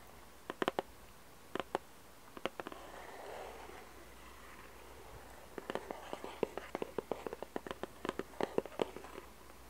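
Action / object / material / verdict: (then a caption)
tap / small cardboard puzzle box with glossy lid / cardboard / none. Long red nails tap and scratch the glossy printed lid of a small, hollow cardboard jigsaw puzzle box. Short bursts of quick, dry, hollow taps are broken up by a soft, brushy scratching stretch in the middle. The clip ends with a dense run of rapid clicking taps, each dying away almost instantly.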